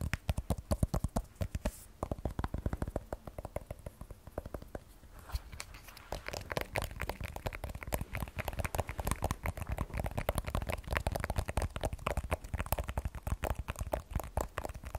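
An iPhone 12 Pro with a glass back and stainless steel frame, solid, is held in the hands and tapped with long nails on the back and frame. Rapid, dense runs of short, dry clicking taps stop almost instantly, with a low-heavy, muffled tone. The tapping comes in quicker bursts in the first two seconds, eases briefly around five seconds, then continues steadily to the end.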